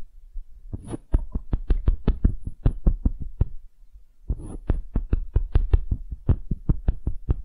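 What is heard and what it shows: Fingernails rapidly tap and scratch a small, solid wooden half sphere in two quick runs, separated by a short pause. Each run opens with a brief bright scrape, followed by dull, low, dry knocks that stop dead with no ring.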